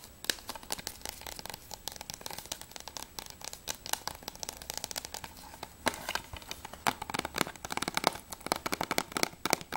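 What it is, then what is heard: Plastic game case tapped with fingernails. Long nails tap rapidly on the front cover, spine edge and back cover of a closed, hollow plastic PS3 game case for Journey. Dozens of quick, bright clicks with almost no low end die away instantly. The taps come in uneven bursts, with a louder, denser stretch toward the end.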